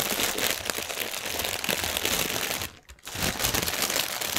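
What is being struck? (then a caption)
Inflated polyethylene air cushion film. Fingernails scratch and press the film of a strip of inflated, hollow, air-filled clear polyethylene air cushions lying on a table. A dense, bright crinkling and crackling runs continuously, drops to near silence for a moment just before the three-second mark, then picks back up at the same intensity.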